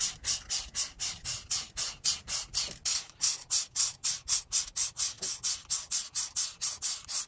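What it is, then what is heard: Marker strokes on a paper colouring sheet. A felt-tip art marker, held by a hand with long decorated nails, rubs 31 quick scratchy strokes into the squares of a flat paper grid coloring sheet. The strokes come at a steady rhythm of about four per second, each a bright, hissy scrape with almost no low end.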